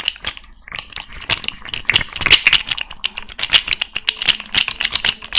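A small rainbow fidget slug toy of hollow, jointed plastic segments is tapped rapidly with long red nails while its segments are flexed. It makes a quick, uneven run of dry, bright clicks centered around 3 kHz, each dying away almost instantly, with almost no low end.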